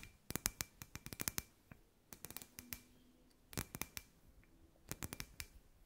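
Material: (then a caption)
Glass. Long white nails tap and scratch a hand-sized, hollow, clear glass ball lamp with fairy lights inside. About two dozen sharp, bright clicks come in quick clusters, each dying out almost at once. Faint, soft scratching fills the gaps at a low overall level.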